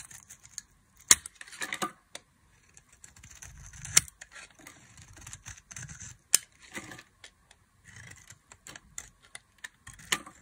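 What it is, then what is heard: Dry bar soap being carved. A solid rectangular beige speckled bar of dry soap, held in a hand with long glittery nails, is carved and scraped with a box-cutter blade so curls and shavings peel off. Dry, bright scraping and crackling sounds come in short irregular bursts, broken by several sharp clicks.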